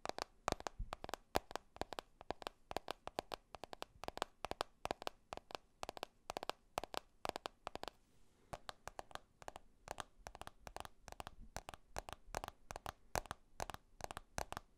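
Fingernails tap the glass surface and edges of a black glass smartphone held upright near the mic. The sound is a rapid, uneven stream of short, dry clicks that cut off instantly, with a brief pause near the middle before the tapping resumes.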